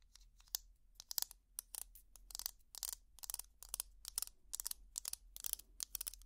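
Long plastic finger picks scratch along the ridges of a small purple ridged plastic tangle toy. A rapid, uneven series of short, dry, bright scraping bursts rises over a faint low hum. Each scratch stops dead with no ring.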